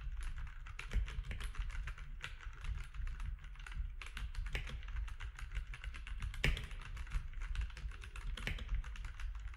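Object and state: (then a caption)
Plastic mechanical keyboard. Both hands type with their fingertips on a compact grey-and-white mechanical keyboard with plastic keycaps and orange accent keys, lying flat on a desk. A steady stream of quick, sharp, clacky keystrokes with bright clicks runs throughout, over a constant low hum.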